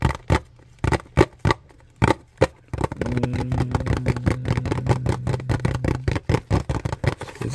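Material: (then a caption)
Cardboard. A small, hollow, light blue printed paperboard box is held close and tapped and scratched with fingertips and nails. Sharp, dry, hollow taps come one at a time, then give way to a steady stretch of rapid scratching with a low, droning undertone. Separate taps return toward the end.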